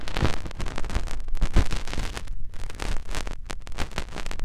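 A finger is pushed into the canal of a soft silicone ear on a white binaural microphone and rubbed around inside it. The sound is a close, muffled stream of deep rumbling scrapes and crackly bursts, heavy in the low end, that swell and fade in quick irregular waves.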